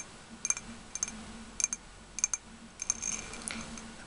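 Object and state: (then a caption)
Ribbed glass candle jar. Fingernails tap on the glass and rim of a round ribbed glass candle jar partly filled with pink wax. The result is bright, high, glassy clicks that come in quick pairs and die away almost instantly.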